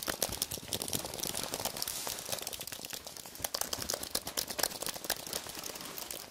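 Fingertips and nails tap, press and scratch across the white plastic keys of a thin white wireless keyboard with an aluminium base, held up in the hands. A dense run of quick, dry clicks and scratchy, crinkly bursts sounds bright and high, with almost no low end. Each tap stops dead with no ring.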